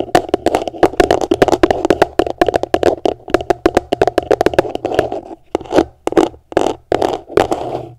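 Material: Plastic.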